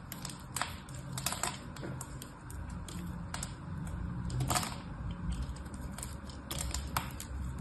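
A solid rectangular bar of soap with a gold diamond-pattern coating and pink interior is held in one hand and carved and scraped with a small knife blade, sending flakes off. Sharp, bright crackling clicks and scraping crunches repeat irregularly over a steady low rumble.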